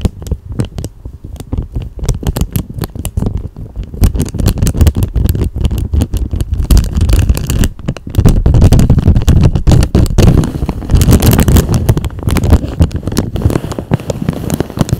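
A thin, clear, empty plastic cellophane bag is held in both hands and crumpled and crinkled with the fingers. It makes a dense, irregular stream of crackling and rustling, with most of its weight low in the sound. The crinkling starts softer and grows louder and fuller from about the eight-second mark.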